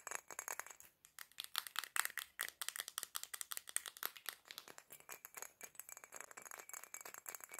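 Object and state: Glass perfume bottle.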